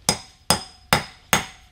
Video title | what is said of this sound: How to Install Masonry & Concrete Anchors - Fasteners 101 | It's hit the bottom. You hear that solid sound. So it's hit the bottom.